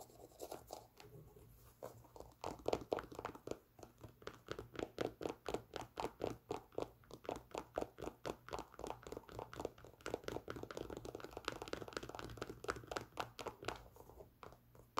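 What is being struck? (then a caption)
Leather sneaker with rubber sole. A white Nike Air Force 1 sneaker, hollow and empty, with a leather upper and a rubber midsole, is held up in the hands and tapped and scratched along its side with long pink nails. A rapid run of quiet, dry, hollow taps centered in the mid-range around 430 Hz dies away almost instantly, with soft scratchy rubbing between them. The tapping is steady through the clip before trailing off near the end.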